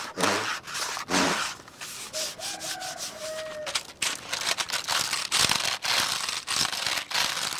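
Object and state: Plastic computer keyboard.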